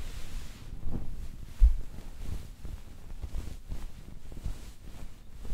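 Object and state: Nothing is struck.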